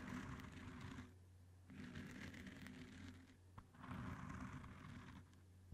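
Both hands scratch and rub blue cohesive fabric grip tape wrapped tightly around a microphone head with fingertips and nails. Three bursts of close, bright, gritty scratching and rubbing are separated by quieter pauses with a low steady hum underneath.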